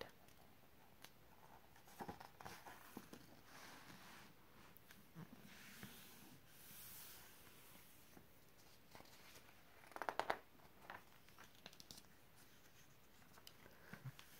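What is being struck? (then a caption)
Glossy paper magazine page. Dark-painted fingernails and fingertips trace and rub across a KitchenAid ad page in an open glossy paper magazine lying flat, making a very quiet, soft papery hiss with scattered light scratchy ticks. A louder crisp rustle flares up about two-thirds of the way through, and a page is turned near the end.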